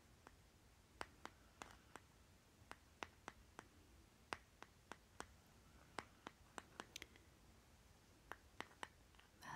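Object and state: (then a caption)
Small plastic jar tapped with fingernails. Fingernails scratch and tap the lid of a small round green plastic lip butter jar, then tap its side, making 23 quiet, sharp clicks spread unevenly over a soft hiss. Each tap is brief and bright, dying away almost at once with no ring.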